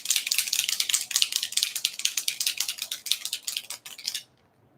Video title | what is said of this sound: Crafty Snippets | shake it until you hear that ball because that's mixing that mica